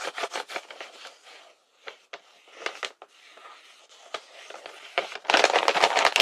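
Fingertips tap and rub across the surface of a large printed paper blind bag with a unicorn design, lying filled on a table. Crisp, bright papery taps and crinkles come in uneven bursts with quiet gaps between them. The clip ends with a louder, continuous crinkling rustle.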